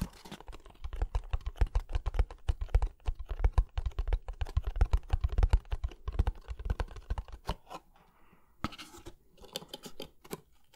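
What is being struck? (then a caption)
Cardboard box. Fingernails scratch and tap the surface of a hollow kraft cardboard box held upright in front of the microphone. Rapid, dense tapping carries deep, boomy thumps for about seven seconds, then a brief pause. Lighter, scratchier taps follow to the end.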